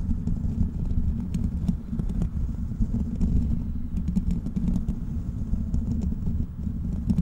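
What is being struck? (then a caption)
Metal mesh microphone grille. Fingertips of both hands scratch and tap directly on the hollow, foam-free black metal mesh grille of a large desktop USB microphone. The result is a steady, dense stream of close, muffled scratching and tapping with a deep rumbling body, dotted with faint, quick bright clicks.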